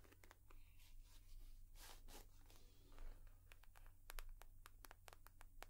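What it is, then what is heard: Leather purse. A leather purse is tapped and scratched with long nails. Bright, crisp clicks and dry scratching sounds come over a steady low hum. Toward the end the taps grow sharper and more distinct.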